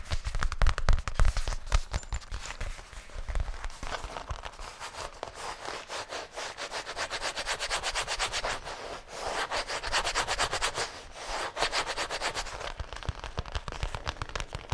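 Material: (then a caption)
Faux leather. Fingertips rub and scratch the surface of a flat black faux leather zippered case, held upright and then against the chest. The result is a quick, uneven run of dry scratching and rubbing strokes: a louder opening stretch with soft low thuds, then steadier, brighter scratching that swells and dips in short bursts.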